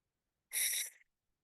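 A broken, hollow bird bone, possibly from a wading bird and thin enough that light almost shows through it, found in a coat pocket, makes a single short, breathy, high-pitched whistle-like hoot lasting about half a second. The sound's energy sits almost entirely above 2 kHz, and it confirms that the bone is hollow.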